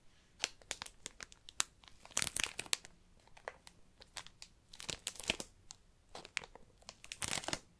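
Fingertips and nails crinkle and scratch the clear plastic shrink wrap sealing a hardcover book. The result is a quiet, bright stream of sharp crackles and crisp scratches, with denser bursts of crinkling between short pauses and almost no low end.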